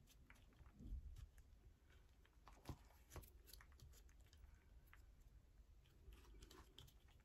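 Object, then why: Bar soap. Long nails scratch the side and surface of a yellow bar of soap with a hole in it, and crumbs pile up on a purple mat. The sound is quiet, dense, crumbly scratching with short, dry crackles and faint low rustling, and a few slightly louder scrapes stand out.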